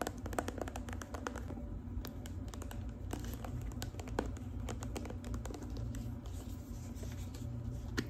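Long pink acrylic nails tap quickly along the sides of a tall plastic body cream bottle with a red and gold label and a red cap, likely full, held in the hand. The taps come as a fast, steady stream of short, dull clicks with very little ring, over a constant low-frequency hum.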